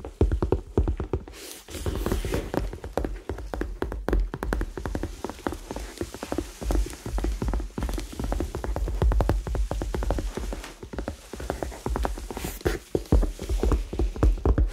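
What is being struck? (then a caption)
Leather handbag. Fingertips and nails tap rapidly on the body of a hollow, medium-sized red leather handbag held close to the microphones. The result is a dense, irregular stream of soft, muffled thuds, heavy in the low end with brief clicky edges and little ring.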